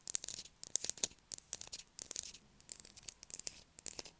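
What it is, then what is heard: Bar of soap. A solid blue bar of soap is held in the hands while long acrylic nails scratch it hard, sending soap shavings falling. The scratching comes as quick, dry, bright bursts of raspy noise with almost no low end and no ringing between strokes.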